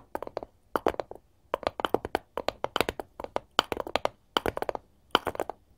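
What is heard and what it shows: Long gold metal claw tips on both hands tap fast and repeatedly on a solid, light wooden cutting board held upright. The result is quick clusters of short, dry, clicky taps with a bright edge and almost no low end. Each tap stops instantly, and brief pauses separate the bursts.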